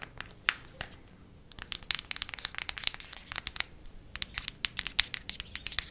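A cardboard eyeshadow palette is tapped quickly with fingernails, producing a rapid, uneven series of about thirty short, dry clicks. The taps are bright and crisp with almost no low end, and each dies away instantly over a faint background hiss.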